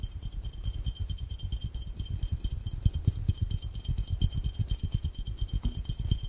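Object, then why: Glass fishbowl. An empty, hollow, clear round glass fishbowl is held over the camera with its base toward the lens and tapped quickly on its glass bottom with fingertips and short nails. The result is a fast, uneven stream of dull, low, thumpy taps that die away almost instantly, over a faint, steady high hiss.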